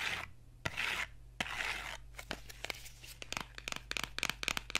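Fingernails scratch and tap the faces and edges of a small, hollow, printed cardboard box as it is turned in the hands. Bright, papery scratching swells come first, broken by sharp clicks, then give way to a rapid run of crisp, dry taps with almost no ring.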